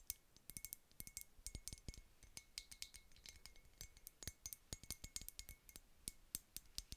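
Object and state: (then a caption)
Glass perfume bottle tapped with nails. Long nails tap and scratch a small, clear glass unicorn-shaped perfume bottle that has a metal spray cap and is partly filled. The result is a quiet, rapid string of bright, sharp clicks and clinks that die away almost instantly, with a faint glassy ring between the taps.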